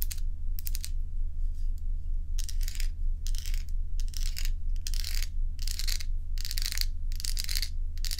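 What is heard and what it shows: Long nails tap and scratch a stack of solid crescent ice cubes held in the hand. Quick, crisp clicks and bursts of bright, gritty scratching come in an uneven rhythm, all over a steady low hum.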